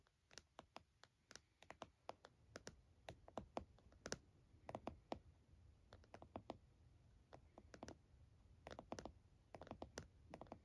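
Fingertips and nails of both hands rapidly tap the lid of a closed laptop lying flat in a purple plastic hard case. Dozens of short, dry clicking taps come in quick, uneven bursts with very little ring.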